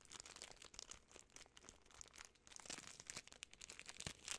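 A full Butterfinger candy bar in its sealed plastic film wrapper is crinkled by fingertips and long nails. The result is a quiet, dense stream of bright, crackling crinkles, with sharp snaps rising from a soft rustle throughout.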